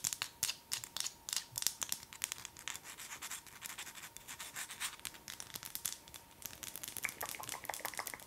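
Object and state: Wax pillar candle.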